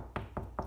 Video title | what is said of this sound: Quick Way to Find and Locate Wall Studs - Magnet and Knock Test plus Baseboard Installation | there's wood behind where this is where you see this cross mark and it's not a as hollow a sound